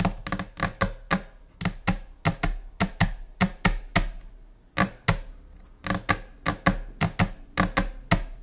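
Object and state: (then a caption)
Solid laminate desk. Long nails tap on a flat, solid white laminate desk surface in a scattered, irregular rhythm. About 25 sharp, clicky taps each carry a brief low thunk and decay quickly, with a short lull near the middle before the tapping resumes.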